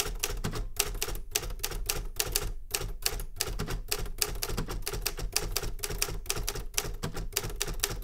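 Rapid fingertip typing on the keys of a Remington Super Riter metal manual typewriter. It makes a steady stream of sharp, bright clacks with short decays over a low mechanical thump, with the keystrokes running closely together without pause.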